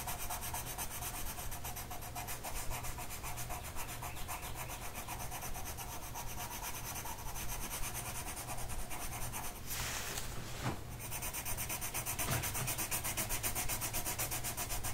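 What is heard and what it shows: A blue colored pencil tip rubs back and forth across a flat printed mandala coloring sheet of paper held down by one hand on a table. It makes a steady, soft, scratchy rubbing sound over a low hum, with a brief brighter swish near the ten-second mark.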